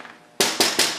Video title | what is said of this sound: Fixing Enclosure rattle on your Larken Safety enclosire | I tapped it hard but there is very no rattling there